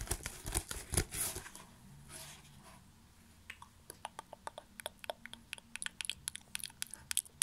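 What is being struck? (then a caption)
Plastic bubble wrap. A rolled tube of plastic bubble wrap, held close up, is scratched and squeezed with fingertips. Dense, crinkly scratching comes first, then fades into a soft rustle. After that comes an irregular run of sharp, bright little clicks and crackles.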